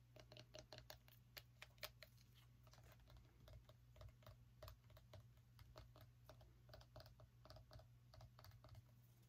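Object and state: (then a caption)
Small pumpkin tapped with nails. A small orange pumpkin is tapped rapidly with long nails, giving quick, crisp clicking taps with a hollow knock around 600 Hz and bright high edges. A steady low hum runs underneath the tapping throughout.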